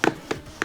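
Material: Cardboard.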